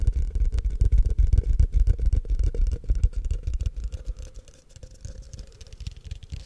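Fingertips and short nails tap and scratch the walls of a tall, empty, hollow frosted translucent plastic cup held in the hands. The result is a rapid, uneven stream of dull, low, very short taps with a faint scratchy texture, louder at first and growing softer in the last couple of seconds.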